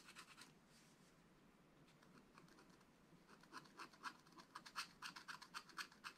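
A wooden stylus scratches strokes into the black wax-coated surface of a flat, solid scratch-art card page in a small spiral-bound book. A few quiet scratches open the clip, followed by a hushed pause. Then come quick, fairly rhythmic dry scraping strokes, about four per second, with a bright, crisp hiss that grows louder toward the end.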